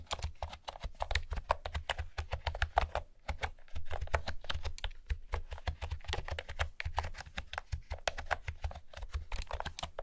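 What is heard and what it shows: Fingertips with long nails type rapidly on a light blue plastic retro keyboard with round pastel keycaps and a hollow housing. The result is a dense stream of short, clicky key taps with a low, hollow thud under each and almost no ring, with a brief lull around the three-second mark before the typing picks back up.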